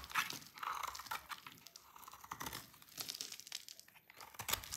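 A utility knife blade shaves an oval, solid, dry blue soap bar, sending brittle blue flakes falling. The result is a quick series of dry, crisp scraping and crunching sounds with a bright, high edge and almost no low end.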